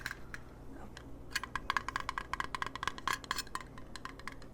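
Fingernails tap on a fan-made circular metal button pin of the character Choso. Quick, bright clinking clicks ring with a metallic, coin-like tone near 1 kHz, in a dense run of light taps that start sparse and then speed up.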